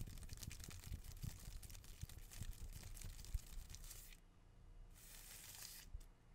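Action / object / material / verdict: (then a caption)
scrape / green palm frond / plant leaf / none. A green palm frond with thin, narrow leaflets is handled and torn with fingers and nails. Dense, crackling tearing and crinkling fills the first four seconds, followed by a quieter stretch with a brief bright rustle near five seconds.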